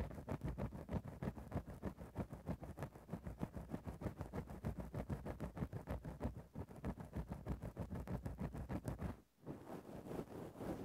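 A thin bamboo ear-pick tip scratches a grey faux-fur microphone windscreen repeatedly at the same spot, making a fast, steady run of soft, muffled scraping strokes. The sound is heavy in the low end, with a brief pause near the end before the scratching resumes.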